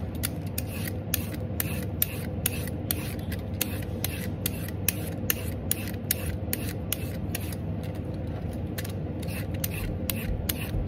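A vegetable peeler strokes along a large, solid, raw orange carrot held in the hand above the peelings, shaving off strips. Quick, regular scraping strokes repeat throughout, each a short bright rasp over a steady low rumble. The strokes stay even in loudness from start to finish.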